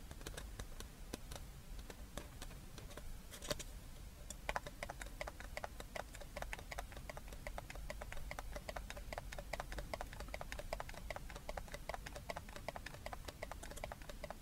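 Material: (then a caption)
Paper. A small, hollow, empty red and white New Year paper cup is held in the hands and tapped and scratched on its sides with long red-painted fingernails. Rapid, dense clicking and light scratching continue throughout, with dry, sharp, short taps over a low background rumble.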